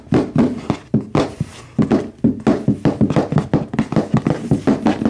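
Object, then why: Cardboard product box. A medium red HyperX-branded cardboard product box, hollow and apparently full, is held in both hands and tapped quickly with fingertips and nails. Over twenty short, dull, hollow taps land in an uneven rhythm, each with a boxy low-mid resonance around 200 Hz and a brief, quickly damped decay.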